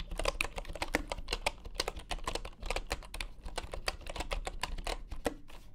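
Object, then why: Bamboo wooden computer keyboard. Both hands type with their fingertips on a full-size bamboo wooden computer keyboard resting on a grey mat. A rapid, steady stream of short, dry clicks has bright tops over a soft low thump. Each keystroke dies away almost instantly.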